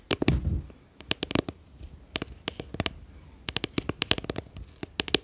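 Long painted fingernails tap and scratch a small, round, clear plastic tub with a lid, hollow and apparently empty, held in both hands. About two dozen sharp, bright, dry clicks come in quick irregular bursts, with a brief low scratchy rustle near the start. Each tap dies away almost instantly.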